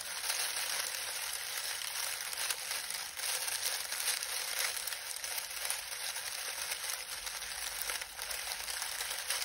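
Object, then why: Lemon balm leaves. A pile of dried lemon balm leaves is pressed and crumpled between the fingertips of both hands. The result is a steady, bright crackling and rustling with almost no low end. It continues without clear breaks for the whole clip.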